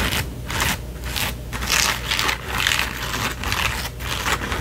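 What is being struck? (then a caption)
Foam-and-mesh trucker cap. Long painted fingernails scratch and rub the foam crown and curved brim of a red and white trucker cap with a foam front panel and mesh back, worn on the head. The soft, hollow cap gives off a repeated bright, hissy scraping, with strokes swelling and fading at an irregular pace of about two per second over a low background rumble.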